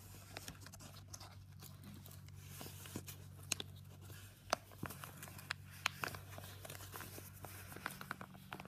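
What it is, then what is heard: Padded paper envelope. Fingertips fold and rub along the paper flap edge of a yellow Jiffy padded paper mailer. Soft, dry crinkling and rustling is punctuated by scattered sharp, bright paper ticks at an irregular pace, over a faint steady low hum.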